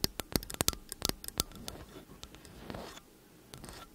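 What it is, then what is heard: Metal microphone body, tapped and scratched. Long acrylic nails rapidly tap and scratch along the hollow metal casings of two identical slim cylindrical t.bone condenser microphones held upright. Sharp, bright, dry clicks come in a quick burst at first, then give way to a softer, rustling scrape that fades near the end, with a few light taps returning at the close.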